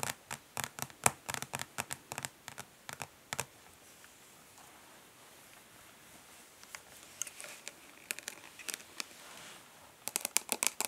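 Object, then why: Hollow plastic eyeshadow palette. Long nails tap quickly on the underside of a flat, rectangular, hollow plastic eyeshadow palette, making sharp, bright, clicky taps with almost no ring. After a short quiet pause, the palette is flipped to its embossed front lid, where softer taps and light scratching lead into another burst of fast tapping.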